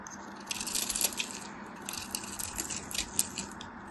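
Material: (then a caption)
Soap. A thin metal craft knife shaves and scrapes flakes off a palm-sized, solid white bar of soap with a textured crosshatch surface, held in one hand. Quiet, bright, crisp scratchy bursts come in two clusters over a faint steady low hum, with short dry crackles and no ringing after each stroke.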